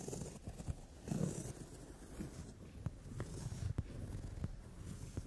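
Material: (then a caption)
Leather. Long nails tap on the brown leather padded seat of a sofa, making four short, dull taps over a soft, low rumbling rustle of the leather. The sound is quiet and deep, with each tap dying away almost at once.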